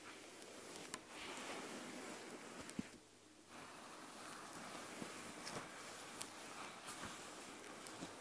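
Fingertips and long nails scratch and rub the soft white plush fabric back of an eye mask lying on a table. The result is a steady, quiet, breathy rustling hiss with a bright edge, broken by a brief lull midway and a few small sharp ticks where the nails catch.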